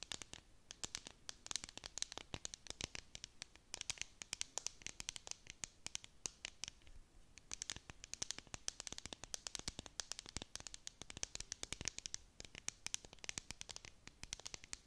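Long nails scratch and tap the sides of a clear plastic tumbler cup with a dome lid, filled with sequins and stars and tilted close to the microphone. Dense, rapid, bright clicks and scratchy rustling run throughout, with a brief lull near the middle. The taps are dry and short, with almost no ring.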